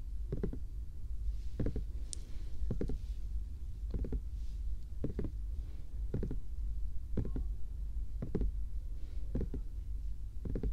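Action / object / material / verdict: tap / small plastic bear-shaped night lamp / plastic / none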